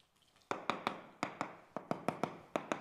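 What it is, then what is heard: Hollow, cracked wall plaster. Eleven sharp, hollow taps on a wall whose plaster, mortar, putty and emulsion paint layer is cracked all over and coming loose, falling off when touched. Each tap is a short, mid-pitched knock that dies away almost at once. The hollow sound reveals the skin has come away from the wall, so that mortar, putty and paint are wasted.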